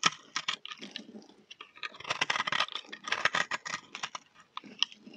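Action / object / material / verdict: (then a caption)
scrape / bar of soap scraped with a knife blade / soap / none. A utility knife blade scrapes a solid, dry, speckled multicolor bar of soap held in the hand, shaving off crumbly pieces. Dense, quick, brittle crunching and scratching clicks come in uneven bursts with bright, hissy high end and almost no low rumble.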